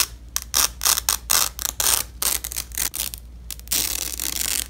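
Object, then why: Nylon hook-and-loop strap. Gloved fingers grip a purple nylon hook-and-loop (velcro) strap that is crossed over itself and rip the fastened sections apart. The result is a series of short, bright, crackling tears separated by brief pauses, ending in a longer sustained rip.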